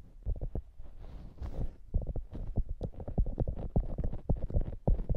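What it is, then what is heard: Soft polyurethane foam squishy toy. Long nails scratch and press the top of a soft, solid polyurethane foam squishy hamburger toy. The sound is a quick, irregular run of dull, muffled low thumps, with a brief softer scratching hiss partway through.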